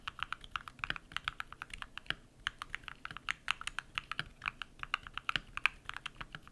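Bare fingertips type rapidly on a compact modded mechanical keyboard with lubed switches and white PBT plastic keycaps. The result is a quick, steady run of short, dry clacks that are bright and mid-high with little low end and almost no ring, with a brief pause a little over two seconds in.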